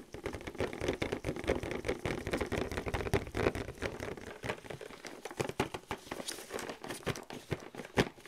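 Fingers in thin clear plastic gloves tap and scratch fast across the front of a flat printed cardboard velociraptor excavation kit box, about 30 cm wide, held upright in both hands. A dense, uneven patter of short, dry taps and scratchy rubs is heard, with a hollow mid-toned knock and a light crinkle, and each hit dies away almost at once.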